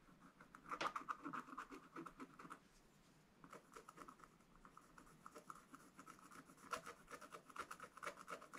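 A wooden stylus scratches strokes into a black, wax-coated scratch art page near a drawing of coral and a ship. It makes a steady run of short, dry, raspy scrapes centered in the midrange with a bright edge. The scraping pauses briefly near the middle, then resumes with a few sharper strokes toward the end.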